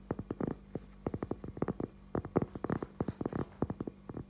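A thin, solid, round cork trivet is held in both hands while fingertips and short nails tap and scratch its face. A quick, uneven run of dull, soft taps comes out with almost no ring, mostly low and muffled and with no bright edge, over a faint steady low hum.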